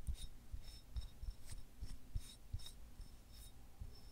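A small, solid, white fibrous selenite wand is held in both hands while fingertips and nails repeatedly rub and scratch along it. The sound is a quiet, raspy scraping with soft low thumps and brief bright scratchy streaks recurring throughout the clip.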